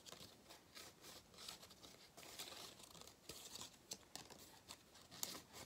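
A thin gold-foil cardboard galette crown band is crinkled and rubbed with fingertips and shaken slightly in front of the face. The result is a bright, dry crinkling and scratching texture with many short, sharp crackles and almost no low end.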